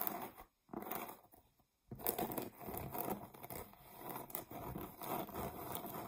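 A solid, flat, round cork board is scratched on its edge and face with long nails, making soft, dry, rustling scratches. Brief silent gaps come early on, then the scratching continues steadily.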